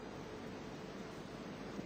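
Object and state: Nothing is struck.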